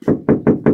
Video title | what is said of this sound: Рено электрокар отрицательный прорыв Часть 1 | c'est comme ça que ça sonne partout : comme une boîte de conserve. C'est-à-dire que vous frappez - et ce bruit se produit.